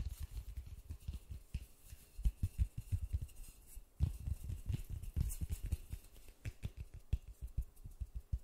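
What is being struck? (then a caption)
Polystyrene foam ball. A large white polystyrene foam ball, held in white-gloved hands, is tapped with the fingertips as it is moved around. The result is a steady run of soft, dull, low thumps that die away almost instantly, with irregular rhythm and a faint brushing texture between taps.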